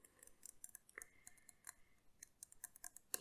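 A tall, clear, narrow-necked glass carafe, hollow and possibly holding a little water at the bottom, is held in both hands and tapped with the fingertips and nails on its glass body. Quiet, bright clicks and taps come one after another with very short ring. One tap at about a second leaves a thin glassy tone hanging for roughly a second.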